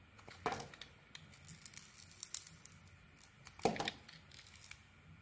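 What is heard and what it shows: A solid, dark-coated Isana bar of soap with a cream core is held in the hand and carved with a metal blade. Two longer, bright scraping strokes stand out near the start and later in the clip, with many short, crisp flicks and crumbly ticks scattered between them. The sound is quiet and dry, with almost no ring after each cut.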